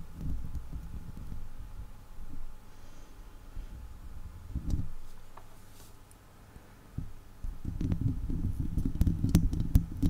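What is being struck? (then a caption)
Steel wire mesh microphone grille. Long acrylic leopard-print nails and fingertips scratch and tap directly on a hollow, round woven steel wire mesh microphone head. The result is a deep, muffled rumbling scrape that swells and fades, with sharp, bright taps clicking through, densest toward the end.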